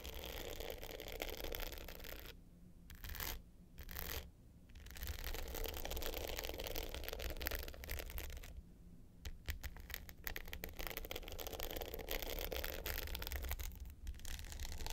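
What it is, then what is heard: Glitter hard-case clutch scratched with nails. Long pointed nails scratch the dark blue glitter top of a small rectangular hollow hard-case clutch with a gold metal frame, lying flat. The result is a dense, gritty scratching with bright hiss, broken by a few short pauses, over a steady low hum.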